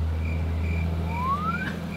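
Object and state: Nothing is struck.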